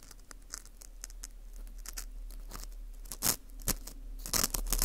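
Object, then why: Dried wheat gluten (fu) ring. A thin metal hook pick scrapes the crumbly inner wall of a dry, porous dried wheat gluten ring (fu) held in a gloved hand. Soft, irregular scratchy crackles and brief bright crunches build in loudness, with sharper louder scrapes near the end.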